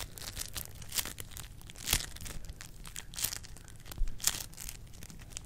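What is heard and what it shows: A small handful of soft, solid yellow floam, slime covered in polystyrene beads, is squeezed and pressed between long acrylic nails and fingertips held close to a microphone grille without touching it. Dense, bright crackling and crunching from the beads comes in irregular bursts over a soft, low squishing rumble, with a few sharper crunches standing out.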